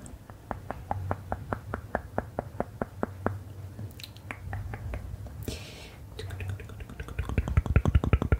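Long manicured nails and fingertips rub and scratch across the page of a thin printed paper word-search puzzle booklet lying flat on black leather. Quick, dry ticking scratches repeat in a loose, steady rhythm over a soft low rumble, with a brief bright papery rustle midway. The strokes grow faster and louder toward the end.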